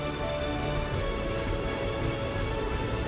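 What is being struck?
Nothing is struck.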